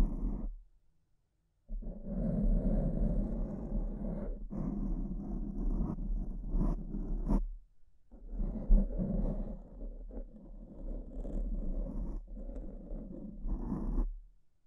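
Long purple-painted nails scratch in light strokes across a soft, porous, fist-sized black foam windscreen covering the left microphone. The sound is a dense, muffled scratching rumble, heavy in the lows with a warm hum near 200 Hz and almost no brightness. It comes in long sustained stretches, broken by a short silence near the start and a brief dip midway.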